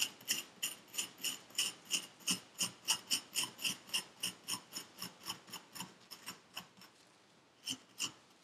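A metal needle tool scratches through purple kinetic sand packed into a paper cup, making about two dozen quick, bright, gritty rasping strokes in a steady rhythm. The strokes grow gradually softer, pause briefly near the end, then return with two final scrapes.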